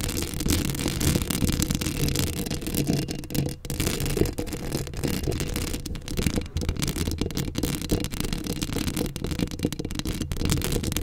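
Long acrylic nails scratch a hollow steel mesh microphone grille up close, producing a dense, continuous scraping and rustling texture. The sound is heavy in low rumbling tones, with a fainter bright hiss above, and holds at a steady level with brief dips throughout.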